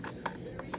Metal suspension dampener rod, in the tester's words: you can hear it has a metal shake this will cause vibration